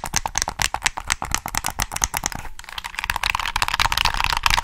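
Fingertips click the triggers and tap the shell of a black, hollow plastic PS3 game controller held in both hands. The result is rapid, irregular, dry clicks and taps with a bright, hollow plastic tone and almost no ring. Partway through, the tapping turns denser and more continuous.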